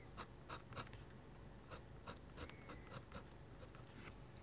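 A metal-nib dip pen scratches short foliage strokes across a sheet of flat white drawing paper. The strokes come as quiet, separate bright scratches over a low background rumble.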